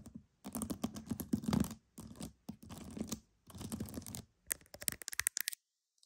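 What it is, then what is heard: Pearls being scratched and tapped. Pearls are tapped and scratched in several dense bursts of close, crackly scratching with a warm low-mid body and bright rattling edges, separated by short silences. The clip ends with a run of quick, sharp taps before falling silent.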